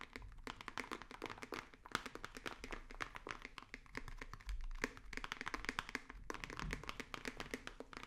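A hollow, rigid white cardboard box held close to the microphones is tapped rapidly with fingertips and nails. The result is a quiet, steady stream of short, dry clicks and soft thunks with almost no ring, bright nail ticks over a hollow low body.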